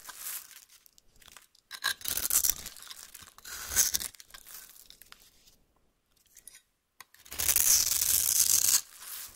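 A metal knife blade cuts and scrapes the surface of a solid oval pink bar soap held in the hand, shaving it into flakes. Bursts of dry, bright scraping and tearing sound come in uneven strokes with short pauses between them. The last stroke is the longest and loudest.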